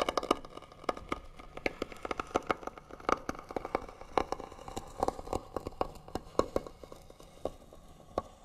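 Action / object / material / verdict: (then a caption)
scrape / wooden box / wood / none. Fingernails scratch rapidly across the lid of a hollow white wooden box. A steady run of short, dry, scratchy ticks and rasps sits mostly in the midrange with little low end. Each stroke stops almost instantly, with no ringing.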